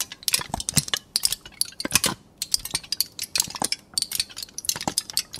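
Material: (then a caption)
Aluminum foil. A thin aluminum foil sheet is crumpled into a loose ball between both hands, crinkled and squeezed. The result is a dense run of bright, crackling clicks and rustles with almost no low end. The crackles come in irregular bursts with brief quieter gaps between them.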